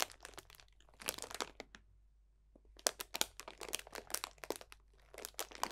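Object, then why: Cellophane bag of dried orange slices and leaves. A clear cellophane bag full of dried potpourri, orange slices and leaves, is squeezed and crunched with the fingertips of both hands. Dense, bright crinkling and crackling bursts come in bunches around a quiet pause near the middle, with sharp, dry snaps that die away at once.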